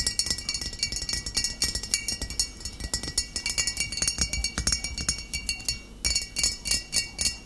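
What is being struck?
Glass bottle of cider vinegar.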